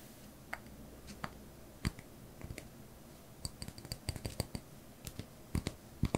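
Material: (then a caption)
Wax. A small white solid wax pillar candle, held in one hand, is tapped and scratched with the fingertips and short nails of the other hand. About twenty short, dry taps and clicks come at an irregular pace, mixing dull low knocks with a few brighter nail ticks. The taps die away instantly, with quiet between them.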